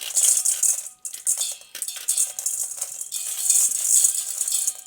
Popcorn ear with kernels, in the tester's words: it's going to be ready because you can hear it rattle when you uh try to shake